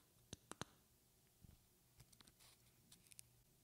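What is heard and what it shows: A medium rectangular glass perfume bottle with a flower decoration and a silver cap is held close to the microphone and tapped with long painted fingernails. Three sharp, bright clicks come first, followed by a looser run of softer, duller taps. Each tap dies almost instantly against a quiet background.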